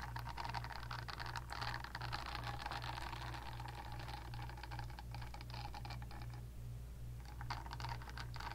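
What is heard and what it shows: Long dark-painted nails scratch and tap the smooth back of a pink, palm-sized, solid silicone facial cleansing pad held next to a fluffy microphone. The result is a steady stream of quick, irregular scratchy clicks and rustles over a constant low hum, with a short softer patch near the end before the scratching picks up again.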